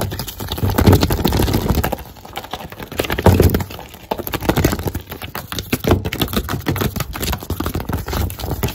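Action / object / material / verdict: tap / thin paper sheet tapped and scratched with fingernails / paper / none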